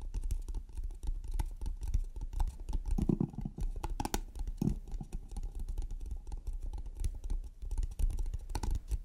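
Long red nails tap rapidly on the lid and edges of a small, closed, hollow octagonal painted wooden trinket box with teal, black and red stripes, a metal latch and a large button on the lid. The result is a steady patter of quick, dull, hollow clicks that die away almost instantly, heavy in low tones with occasional brighter ticks.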